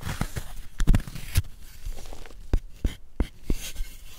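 A wooden spoon scrapes and scoops chalk from the carved hollow of a solid white gym chalk block held in a gloved hand. Dry, crumbly scraping is broken by sharp, short knocks and scoops that die away almost at once, with most of the energy low and dull.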